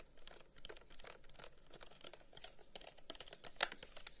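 A long, hollow carved wooden incense box is held close and quickly scratched and tapped with fingertips and nails. The result is a dense stream of short, dry clicks and light scratches, with bright crisp edges over a soft, quiet background and one sharper tap near the end.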